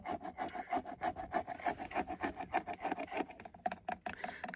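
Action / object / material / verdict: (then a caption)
scrape / plastic car steering wheel airbag cover / hard plastic / none. Fingertips and short nails scratch and tap the center airbag cover of a car steering wheel, a large hollow shell of hard textured plastic with a chrome logo. About 15 quick, uneven scratchy strokes and taps come at a brisk pace, each with a dry hollow plastic tone centered around 730 Hz that dies almost instantly.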